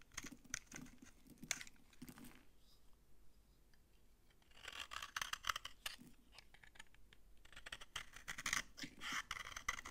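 A utility knife blade scrapes crunchy shavings off the edge of an old, solid, dry orange bar of soap held in the hand. Dense, bright, crackling scrapes come in bursts, ease off for a quieter stretch in the middle, then return louder and crisper toward the end.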